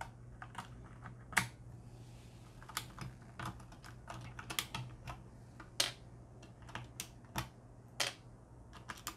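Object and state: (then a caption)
Mechanical keyboard keys being pressed. A hand works the black plastic keycaps of a Corsair K70 mechanical keyboard on a metal plate, pressing and pulling keycaps near the K key where a red switch is exposed while replacing them. About 17 sharp, bright clicks and clacks come at irregular intervals over a steady low hum, each dying away almost instantly.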